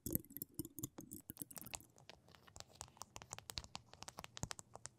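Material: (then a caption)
Plastic. A flat rectangular sheet densely covered in small pink and blue plastic rhinestones lies on a table between two microphones while long pink nails tap and scratch across the gems. The result is a dense run of quick, dry clicks and scratchy patters with bright, crisp edges. A low hum sits underneath, and the opening second is busier.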